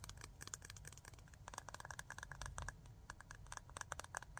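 A small clear glass jar full of glitter with an aluminium screw lid is tapped quickly with fingernails on both the lid and the glass. The result is a fast, uneven run of short, dry clicks with a bright edge that die away almost instantly, pitched around 1.5 kHz, over a steady low rumbling noise.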